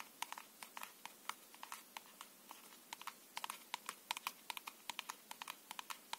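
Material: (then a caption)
Paperboard. A small, closed paperboard tuck box of plastic-coated playing cards, hollow and holding a full deck, is held in both hands and tapped and scratched with the fingernails. About thirty quick, dry, hollow clicks come in an irregular rhythm, each ringing for only an instant, with a papery scratch between them. The tone is quiet and bright, with no low end.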